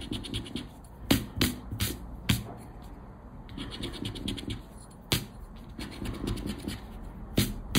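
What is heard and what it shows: A round black plastic scraper rubs across a thin paper Aranha da Sorte scratch card lying on black cloth, making dry, rasping scratch strokes with low, soft scuffing underneath. Sharp, bright clicking taps cut in at intervals over the steady scratching.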